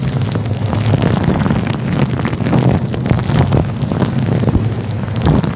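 Fingers of both hands rub a fluffy grey-white synthetic faux fur windscreen covering a microphone. The result is a steady, dense, close-up rumble with a muffled, low-heavy texture and soft scratchy crackles that swell and fade throughout.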